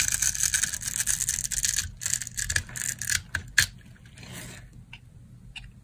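A metal knife blade scores a solid rectangular bar of dry green soap, held in the palm, into small cubes. Dense, bright, crunchy crackling and scraping run for the first few seconds, peaking in a sharp snap. The sound then trails off into quieter, softer scraping.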